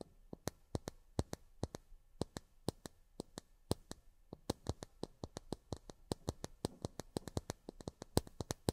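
Long fingernails tap on miniature plastic drinking glasses, making about 46 sharp, dry clicks in a quick, uneven rhythm. Each tap is bright and crisp and dies away almost at once, with no ringing, over a quiet background.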